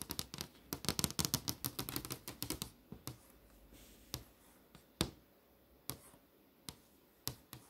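Fingers with long nails tap across the poster tiles on a flat glass touchscreen display, making sharp, bright clicks. A quick, uneven flurry of taps fills the first few seconds, then it slows to single, spaced-out taps.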